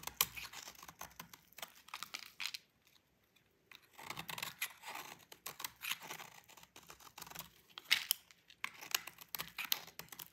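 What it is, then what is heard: Bar of soap being scraped. A utility knife blade scrapes stringy shavings off a solid, dry orange bar of soap held by fingers with long pink nails. The result is quiet, bright, crisp scraping and crackling in quick bursts, with a short pause around three seconds before the scraping resumes.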